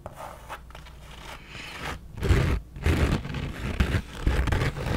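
Long nails scratch the front panel and brim of a black embroidered Harley-Davidson fabric trucker cap worn on the head. A soft, quiet rustle builds into louder, uneven bursts of rough scraping, dull and heavy in the lows with little brightness.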